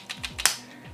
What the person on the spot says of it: as I shake it, the earbuds actually didn't fall off. You can hear them rattling, but the magnetic strength is strong enough.